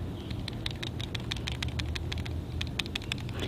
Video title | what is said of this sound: Harvesting LIMA BEANS!! -Grow Beautiful Flavor – Vlog No. 9 | you can hear the bean rattling then the green one you can't hear anything rattling